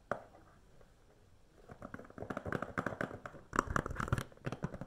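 A standard plastic DVD case with a film sleeve under its clear cover, hollow and thin, is held upright and tapped and scratched with long nails. After a single click and a quiet pause, a rapid run of dry, hollow plastic taps and scratchy rubs builds up, peaking in a denser, louder cluster near the end. The sound is mostly low and midrange with little brightness.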